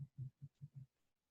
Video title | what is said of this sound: The Naked Egg - a sample online STEM class | if I tap it on the table, doesn't make a noise at all